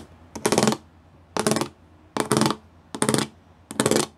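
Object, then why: Plastic panel with pyramid studs. Fingertips and nails tap and scratch across a flat grey plastic sheet covered in rows of small square pyramid studs, thin and likely hollow-backed. Five bright, rattling scratch bursts are heard, each led by a light tap and lasting about a third of a second, with short quiet gaps between them.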